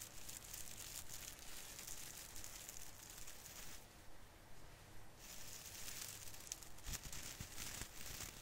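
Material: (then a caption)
Plastic. Both hands pinch and rub a branch of a small artificial fir tree with plastic needles, crinkling it. A steady, bright crinkling rustle carries on throughout, with a low rumble underneath. It eases to a softer, duller stretch partway through before the crinkling picks back up.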